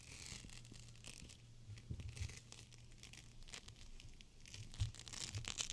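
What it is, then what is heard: Gel bead pack crinkled. A GLOWY gel bead cold/hot pack, a clear plastic pouch full of teal beads, is squeezed and crinkled by fingers with long nails. Soft, bright plastic crinkles and rustles come in quick bursts over a steady low hum, getting a little louder near the end.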